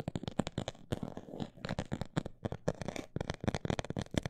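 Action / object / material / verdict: tap / textured fabric or plastic cosmetic bag / fabric / none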